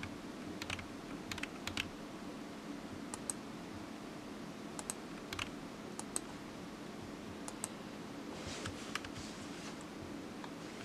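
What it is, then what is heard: Plastic computer keyboard. Fingertips of one hand slowly tap the keys of a black low-profile plastic computer keyboard resting on a desk mat, and the keyboard is solid. Sparse, short, bright plastic clicks, often in close pairs, die away almost instantly over a faint steady low hum.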